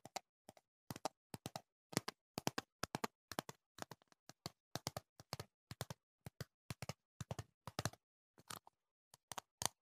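A clear plastic jar with a label, filled with green foam earplugs and held close to the microphone, is tapped with fingertips and nails. About forty quick, dry, clicky taps come in short clustered bursts, each stopping almost instantly with no ring.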